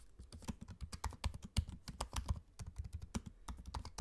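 Fingertips type steadily on a MacBook-style laptop keyboard with low-profile plastic keycaps set in a space-grey aluminium body. Rapid, dry keystroke taps stand out as short bright clicks over a soft, low thump, with some strokes landing harder than others.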